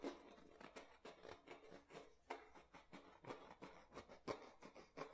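An empty clear plastic water bottle is gripped in the hands while fingernails scratch and rub its ridged bottom, and then the hands turn the bottle. The result is a quiet, irregular run of bright, crinkly scratches and sharp plastic ticks, with short bursts about once a second and no ringing after each one.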